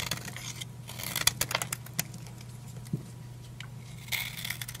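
A solid green oval bar of dry soap, held in the hand, has brittle pieces cut and scraped off it with a utility knife. Crisp, bright crackling scrapes and sharp clicks come in bursts over a steady low hum, with short quiet gaps between strokes.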